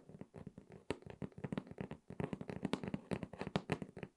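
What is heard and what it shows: Long red acrylic nails tap the top surface of a closed, hollow, medium corrugated cardboard shipping box resting on a table. The result is a quick, irregular run of short, dry, hollow knocks with a low, boxy body and almost no ring, some taps landing sharper and louder than others.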